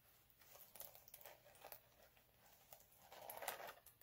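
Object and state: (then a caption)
Chunky glitter sheet being scratched. Both hands scratch short nails across a flat, multicolour chunky glitter sheet lying on a dark cloth. The result is quiet, dry, crinkly scratching in quick uneven bursts, with bright gritty texture that swells to a denser, louder rasp near the end.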